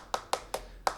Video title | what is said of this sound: ABSIMA CR3P, une Radiocommande PAS CHER | quand tu prends une radiocommande sur un kit RTR, ça sonne vraiment très très creux, hein, le plastique. Là, c'est vraiment pas le cas du tout